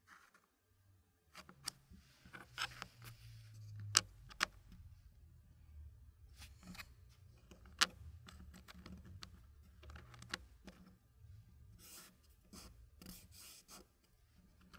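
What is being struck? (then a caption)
Wooden puzzle pieces and wooden tray. Fingertips rub and slide small solid wooden puzzle pieces across a green-painted wooden tray, giving soft, bright scraping and rubbing of wood on wood. A few sharper clicks stand out against a faint low rumble, and the sound stays quiet throughout.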